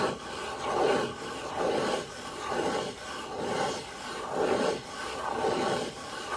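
Fingertips rub and scratch the face of a small, hollow brown cardboard box held in the hand, with a few light taps. The result is a soft, papery scraping that swells and fades in a steady rhythm about once a second, with a hollow midrange body around 400 Hz and a faint bright hiss.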